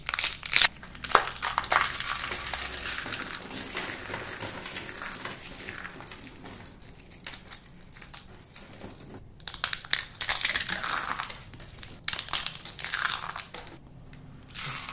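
A small block of dry green bar soap is squeezed and crumbled between the fingertips of both hands over a pile of green soap shavings. Dense, bright crunching and crinkling runs throughout, in bursts that fade and return. There is almost no low end.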